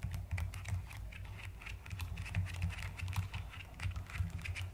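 Fingertips and long nails type steadily on a mechanical keyboard with a white case and pastel plastic keycaps. Quick, closely spaced clacks each carry a deep, muffled thump underneath and a brighter click on top. Every keystroke dies away almost at once.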